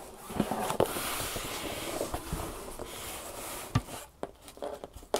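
Long painted nails tap and scratch the top and sides of a large, closed, hollow corrugated cardboard shipping box. A steady, papery scratching hiss runs through most of the clip. Several sharp, short taps stand out, mostly after the scratching eases.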